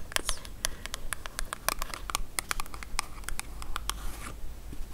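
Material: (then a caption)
Cardboard. Long acrylic nails tap and scratch the faces of a small, hollow, printed green cardboard soap box held in both hands and turned. The result is a quick, uneven run of sharp, dry clicks with crisp high-end snap and no ring, mixed with soft scratchy rasps between taps.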